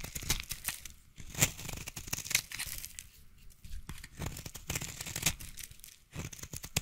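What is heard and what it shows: A utility knife blade scrapes and cuts into a solid, hand-held orange bar of soap, piling up shavings. Dense, crisp scraping and crackling bursts with bright, hissy detail come in uneven waves, broken by brief quieter pauses, with soft low thuds underneath.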